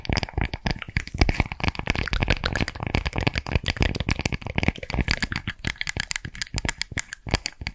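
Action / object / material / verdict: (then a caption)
scrape / woven straw coaster / straw / none. Long nails scratch and tap along the woven fibers of a round, palm-sized, flat and thin woven straw or rattan coaster. A dense, rapid stream of dry crackling taps and scratchy rasps runs throughout, with soft low thumps under bright, crinkly texture. Each tap dies almost instantly with no ring.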